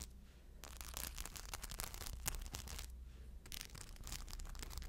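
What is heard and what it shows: Long blue nails scratch over the rhinestone surface of a crescent-shaped rhinestone shoulder bag held up by its strap. Bursts of bright, crackly scratching come and go over a steady low hum.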